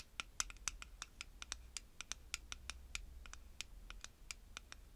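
Long-nailed fingertips stir and scratch through small purple pyramid beads in the open-top jar of a clear plastic stacking tower. The result is a quiet, rapid series of short, dry, bright clicks and ticks over a faint low background rumble.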